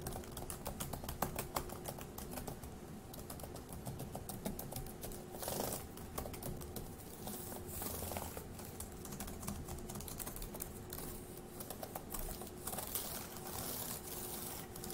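Fingertips type on a dark grey laptop keyboard with plastic keys, producing a fast, steady stream of soft, bright plastic clicks with short bursts of quicker typing. A faint, constant low hum sits under the quiet, close-up key taps.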